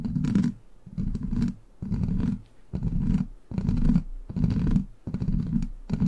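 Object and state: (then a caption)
Metal mesh microphone grille being scratched. Long black plastic claw nails scratch and tap a hollow steel mesh microphone grille in repeated bursts of roughly a second each, separated by short quieter gaps. Each burst is a dense, rumbling rasp heavy in the low end around 200 Hz, with fainter bright scratchy texture above it.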